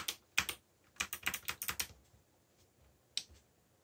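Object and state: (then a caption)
Plastic mechanical keyboard. Fingers tap the keys of a backlit black plastic mechanical keyboard while typing, giving ten sharp, bright clicks with almost no ring. A few are spread out at first, then a quick burst comes together before a pause and one last lone click.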